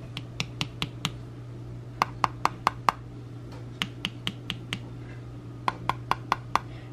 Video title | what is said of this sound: Day in Our Country Life - Sunday and So Much to Do | it's more by sound. So listen to this. This one sounds hollow.